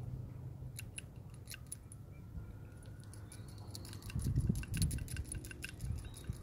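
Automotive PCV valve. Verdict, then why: Worn. The original PCV valve from a 2014 Kia Cadenza, with gunk inside, is shaken by hand in a rattle test, producing quick, irregular, light metallic ticks over a low background rumble. The rattle sounds markedly different from a new valve's, pointing to a worn valve from wear and tear.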